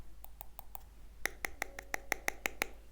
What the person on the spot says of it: відчувається як метал а звучить як пластик